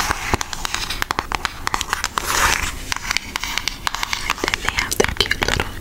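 Long nails tap and trace across a flat, thin pink Aristocats cardboard eyeshadow palette with a holographic print. Quick, dry, bright clicks come in uneven bursts, with a soft scratchy swell of tracing in the middle. Each tap dies away almost at once.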